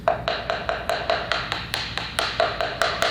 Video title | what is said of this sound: Fixing Tiles That Have A Hollow Sound | it's got that Hollow sound